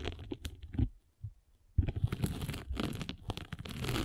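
A metal-spiked derma roller is rolled back and forth across the grey abrasive face of a solid abrasive foam sanding sponge held in the hand. It makes dense, low crunchy scratching and crackling, with a near-silent pause partway through before the rolling resumes more steadily.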